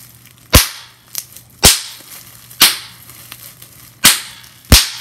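Clear plastic bubble wrap has its bubbles pinched and popped with fingers and nails, giving five sharp, bright pops at uneven intervals. Each pop ends almost at once, with faint crinkling plastic ticks between them.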